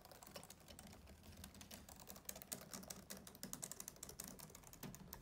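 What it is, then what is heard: Plastic laptop keyboard being typed on. Fingertips type on the keys of a black plastic laptop keyboard and briefly tap the plastic deck above the keys. A steady stream of soft, quick clicks with bright, crisp tops and a low hollow thud underneath, each one dying away almost instantly. The tapping grows sharper and more separated in the second half.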